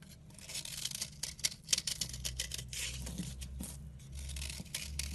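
A red utility knife scrapes flat across a solid round soap bar with a chalky white surface, sending powdery flakes falling. Quick, irregular bright scraping strokes rasp over a steady low hum, with a few sharper scrapes standing out.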